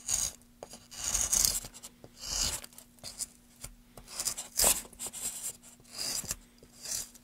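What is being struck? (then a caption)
Wooden board. A metal gouge cuts and scrapes into the surface of a solid, light wooden board held in gloved hands. Bright, rasping scrapes come in short bursts separated by brief pauses, with a faint steady low hum underneath.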